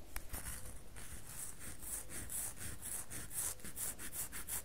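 A solid red bar of soap is held in the hands while fingernails rub and scratch across its edges and faces. The result is a quick run of dry, rhythmic scratching strokes, each with a bright, hissy edge over a soft low rumble of handling.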